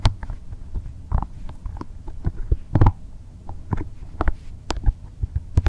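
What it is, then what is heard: Rubber spiky massage ball. A small, translucent, green soft rubber or plastic massage ball with spikes is held in both hands while fingers squeeze, rub and scratch the spikes. The result is a string of low, muffled thumps and rubbery creaks with brief, bright clicking edges and a soft low hum between them.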